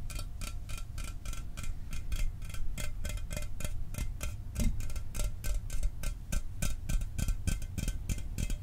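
A sealed, unopened 12 oz Mountain Dew aluminum soda can, hollow and held in one hand, is tapped fast with the fingernails of the other hand. The result is a rapid, slightly uneven stream of bright, clicky metallic ticks with short rings over a low, steady rumble.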